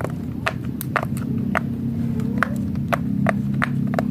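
Fingertips of both hands press and pop rows of hollow bubble domes on a large, flat, rainbow silicone pop-it fidget toy shaped like Hello Kitty's head, lying on a white surface. Each press makes a short, soft pop with a mid-pitched tone near 1.4 kHz. The pops come in a steady series over a constant low hum.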